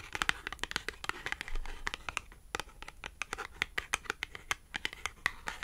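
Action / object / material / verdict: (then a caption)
tap / thin cardboard tag / cardboard / none. A small, thin, flat green matte cardboard clothing tag is scratched and tapped with long acrylic nails. A quick, irregular run of dry, bright clicks and scratchy strokes follows, each stopping short with no ring. Faint brushing runs between the taps.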